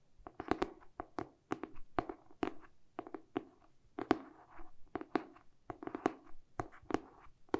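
A medium-sized, solid hardcover paper book with a glossy printed cardboard cover, held in both hands, is tapped on the cover and edges with short painted fingernails and fingertips. It makes a quick, irregular series of dry, hollow taps, some in fast bursts, with a warm, low-mid tone around 312 Hz. Each tap dies away almost instantly with little brightness.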